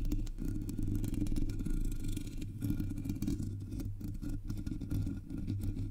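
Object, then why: Metal mesh microphone grille. Long nails scratch and tap the sides of the black hollow metal mesh grille on a Blue Yeti microphone. The result is a continuous, close-up scraping and rustling with quick tapping clicks over a heavy, boomy low rumble.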